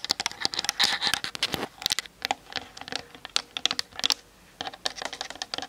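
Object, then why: Plastic camera body. Long nails tap fast on the top and sides of a Canon DSLR with a plastic body. The result is a rapid run of dry, bright clicks with almost no low end and no ring, broken by a brief quiet gap near the end before the tapping resumes.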